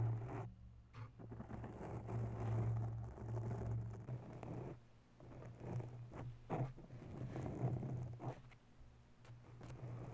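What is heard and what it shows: Long natural nails slowly scratch a grey foam microphone windscreen. Soft, muffled rustling and scraping strokes come in uneven bursts over a steady low hum, with brief quieter gaps between passes.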